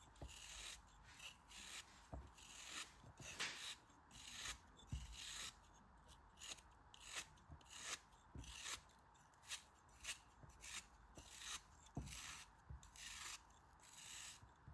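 A utility knife blade shaves the edge off a solid pink kinetic sand cone held in the fingers. Repeated short, gritty scraping and cutting strokes give off a bright, sandy hiss with faint soft thumps underneath, and brief pauses between strokes.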